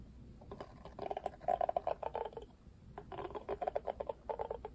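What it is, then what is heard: Plastic paddle hairbrush. Fingertips strum and scratch across the black, pink-tipped plastic bristles of a hand-held pink plastic paddle hairbrush. The result is two bursts of rapid, dry clicking and ticking, centered in the midrange, separated by a quieter pause near the middle. Each tick stops almost instantly, with a faint hiss underneath.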